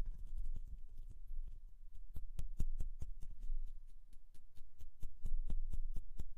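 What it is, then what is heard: Metal microphone grille. Long nails scratch and tap on the hollow mesh metal grille of a Rode NT1-A condenser microphone. Quick, irregular clicks, roughly two per second, each flash bright and die almost instantly over a steady low, boomy rumble and soft scratching.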